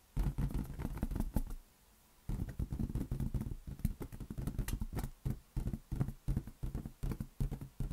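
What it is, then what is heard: Inflated rubber balloon. A large, hollow, inflated green latex balloon is cradled in both hands and tapped rapidly with the fingertips. The taps make a dense patter of soft, dull, low thumps that die away almost instantly, with a brief silent pause before the tapping resumes in uneven bursts.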